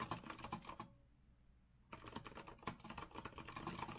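An Azio rose-gold retro mechanical keyboard with a metal frame and round plastic keycaps is typed on with the fingertips of both hands. Rapid, clicky keystrokes with a low thock and bright clatter break off into a short near-silent pause, then resume in a steady burst.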